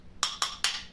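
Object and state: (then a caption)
Hollow floor tile. A painter's tool taps a floor tile four times inside a marked void area, giving sharp, bright clicks with a high, hollow tone and very little low end. The tile is bad: it sounds hollow because it sits over a void.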